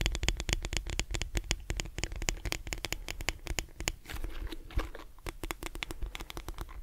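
A lilac plastic detangling brush is held upright while fingertips and nails tap and scratch its back and bristles. The result is a rapid, uneven stream of dry, clicky taps and scratchy crackles, bright on top with a soft low thump beneath, and a brief quieter scratching stretch near the middle.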